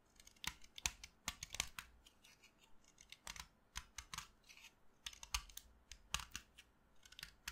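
A short, solid piece of pink chalk held between the fingers is carved with a utility knife blade, giving a quiet series of dry, crisp scraping and cutting strokes. Each stroke is short, bright and gritty, with almost no low end and no ring, leaving faint scratchy texture between the cuts.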